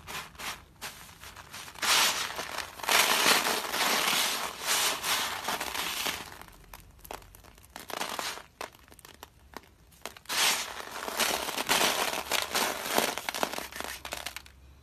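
Flat hands press down on a spread-out heap of dry soap flakes, then fingertips rub and crumble flakes over the pile. Dense, bright crunching and crinkling comes in two long bursts, with quieter, sparse crackles between them.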